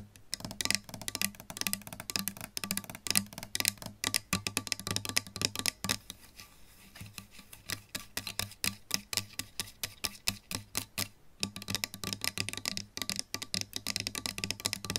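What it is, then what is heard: Solid-body electric guitar tapped with nails. Long pink nails on both hands tap fast on the plastic pickguard and pickup area of a solid-body electric guitar with a lacquered wood body and metal hardware. Dense, rapid, bright clicks and scratchy taps run throughout, with a faint low hum underneath and a brief quieter, softer stretch in the middle.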